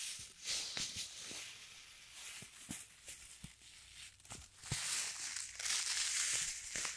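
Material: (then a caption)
Plastic, sand. A small clear plastic zip-lock bag partly filled with pale sand grains is held in both hands with the fingertips, then crinkled, squeezed and shaken so the grains shift inside. Bright, crisp plastic crinkling mixes with a hissing rush of sliding sand, broken by quick sharp clicks. The sound swells louder and brighter toward the end.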